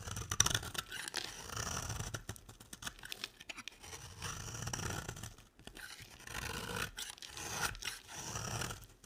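A square, solid beige bar of dry soap is held in the hand and shaved with a box-cutter blade. Dry, bright scraping and crisp cutting strokes come in repeated bursts of several seconds each, with short pauses between them. Each stroke peels off soap shavings.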